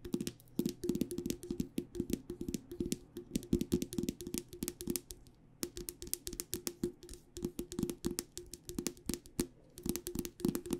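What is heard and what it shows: A hollow, cylindrical metal tea tin with a printed label and a metal lid is held in both hands while its side is tapped with long dark nails. The result is a rapid, continuous run of light, clicky taps with a short metallic ring and a low resonant tone, with a brief pause near the middle.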